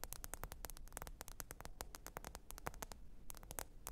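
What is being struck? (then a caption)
Smartphone glass screen tapped with acrylic nails. Long pointed acrylic nails tap rapidly on the glass screen of a small, thin, solid black smartphone lying flat and screen-up on faux fur. The result is a quiet, fast stream of short, sharp, bright clicks that die away almost instantly, over a steady low hiss and rumble.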